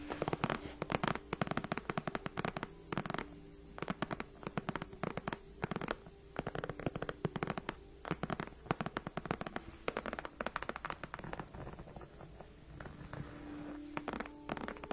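Long nails of both hands scratch and tap across the backrest of a large, padded white faux leather gaming chair. Quick, crisp clicks and rasping scrapes come in dense, uneven flurries over a quiet, steady low hum, with each tap dying away almost at once on the soft padding.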